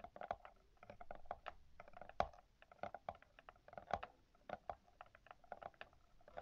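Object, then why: Paper endpaper of a hardcover book. Long yellow-painted nails scratch the yellow paper endpaper of an open hardcover book while a small black pen- or brush-like tool is held against the page. The result is a rapid, uneven scratching patter of short, dry, papery ticks and scrapes centered in the midrange, with almost no ring.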